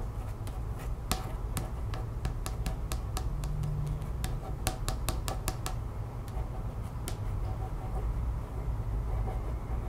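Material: Cardstock.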